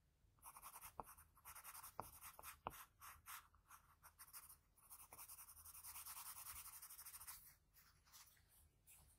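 A graphite pencil scratches short strokes on a sheet of drawing paper near the eye of a sketch. Bursts of dry, bright scraping come in irregular groups, with a few sharper taps. The drawing builds into a longer continuous stretch of shading before the strokes shorten again.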